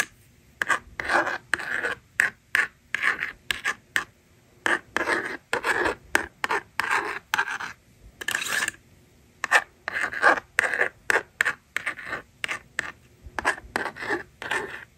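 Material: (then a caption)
Plastic. A yellow plastic stylus scratches digits onto the honeycomb screen of a hand-held plastic magnetic drawing board. Dozens of short, dry, raspy strokes come in quick separated bursts, bright and scratchy with a midrange edge and almost no low end, with brief silences between them.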